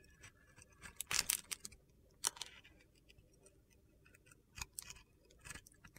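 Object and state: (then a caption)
Glitter-coated soap bar being scraped. A steel utility knife scrapes across a hand-sized, embossed solid soap bar with a blue-silver glitter coating, crumbling off brittle white flakes. Quiet, bright, gritty crunches and scratches come in short bursts, loudest near the start and middle, with faint rustling between.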